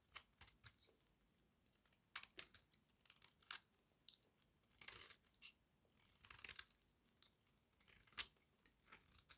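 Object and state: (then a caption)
Dry soap bar scraped into flakes. A small metal blade scrapes crunchy flakes off a solid, rectangular, embossed bar of dry white soap held in the hand. The result is a quick series of dry, crisp crunching and rasping bursts, almost entirely bright and high with barely any low end. A few longer tearing strokes stand out among the short scrapes.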